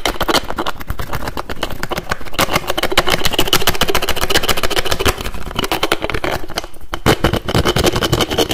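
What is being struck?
Plastic toiletry bottle with screw cap.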